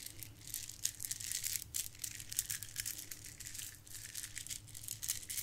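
A gold plastic bead garland strand is held and rubbed between fingertips and long nails, then dangled and shaken so the beads rattle. The result is a dense, bright, crinkly clicking and rattling that surges and fades over a faint steady low hum.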